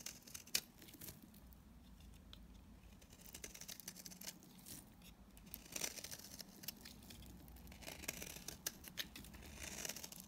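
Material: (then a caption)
Soap. A utility knife blade shaves and cuts dry chunks from a solid blue bar of soap held in the hand. It makes quiet, bright, crackly scraping and crisp snapping sounds that come in irregular bursts with sharp clicks and little ring.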